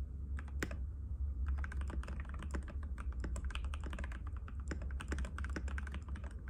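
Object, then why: Plastic mechanical keyboard. Both hands' fingertips type rapidly and continuously on a compact cream-white mechanical keyboard with plastic keycaps and a hollow case, resting on a glass table. A dense stream of sharp, clacky key taps sits over a steady low hum.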